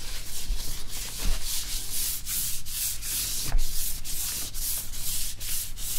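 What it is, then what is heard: Cloth rubbed on laptop screen. A small cloth rubs back and forth across the glossy screen of an open laptop held sideways, making a steady, breathy swishing with a bright hiss and a low rumble underneath. The strokes come in quick repeated passes with brief dips between them, and a few slightly louder bumps stand out.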